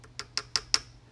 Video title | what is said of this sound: Anvil 068:1889 Remington top lever spring | you can hear the hammer bouncing i know that i have the screwdriver all the way down on the bottom of the slot